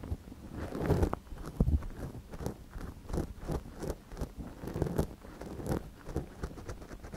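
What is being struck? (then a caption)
Silicone dummy ear of a binaural microphone, scratched with a thin wooden ear pick. A gloved hand scratches inside the canal of a small, hollow white silicone dummy ear on a binaural microphone with a thin wooden ear pick. The result is close, irregular scraping and rustling strokes, heavy in low, muffled rumble with little brightness.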